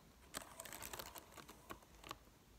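Long acrylic nails tap the dark plastic keys of a silver laptop keyboard, with the hands resting on the keyboard throughout. About ten quick, bright clicks sound in an uneven run, a few sharper taps standing out.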